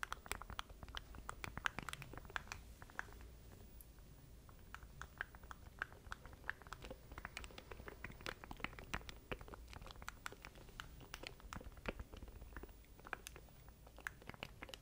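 A small black plastic stream deck controller with a grid of keys is held in both hands near a microphone while fingertips tap and scratch across it. The result is a steady run of quick, dry, crisp clicks and scratchy ticks over a low, constant hum.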